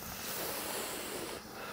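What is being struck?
Nothing is struck.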